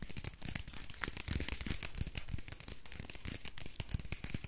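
Fingertips and nails scratch and squeeze the printed paper wrapper of a small solid soap bar held close to the microphone. The result is a dense, continuous stream of dry paper crinkling and scratching with bright, hissy edges, over soft low thumps from the squeezing.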